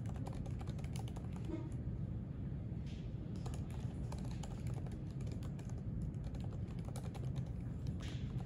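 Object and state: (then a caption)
Laptop keyboard typing. Fingertips type steadily on the plastic keys of a thin silver aluminium MacBook resting on a white library desk. Quick, light key clicks run continuously over a low, steady background rumble.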